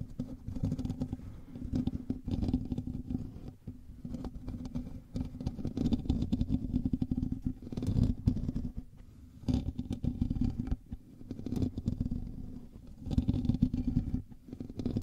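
A black microphone's hollow metal mesh grille is scratched with fingertips and nails, right against the mic. The result is a dense, close, bassy rumble of scraping and rubbing with a steady hum near 250 Hz, rising and falling in uneven bursts with brief pauses.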